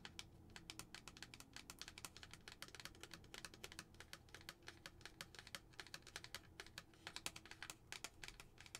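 Long acrylic nails rapidly tap a glass tumbler with a lid and a pumpkin tag, filled with tissue. The steady stream of quick, bright, dry clicks dies away almost instantly, over a faint low hum.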